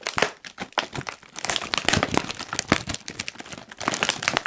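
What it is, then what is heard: Plastic crisp packet being crinkled. A medium-size Kettle crisps bag of foil-lined plastic, puffed and apparently sealed and full, is held in both hands and squeezed and crinkled with the fingertips. It gives a dense stream of bright, crisp crinkles and sharp crackles with almost no ring, rising and falling in loudness as the bag is worked.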